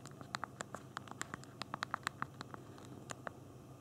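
Thumbs type on the small plastic keys of a handheld BlackBerry phone's physical keyboard. The result is a rapid, uneven run of short, dry clicks centered near 1.1 kHz with high bright edges, each dying away almost instantly over a faint low hum.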